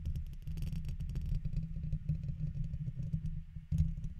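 A red plastic guitar pick held in the fingertips scratches across the hollow woven metal mesh dome grille of a large silver condenser microphone. The result is a dense, rapid run of deep, rumbling scrapes and rattling ticks that continues almost without pause. The scratching dips briefly just before a louder final burst.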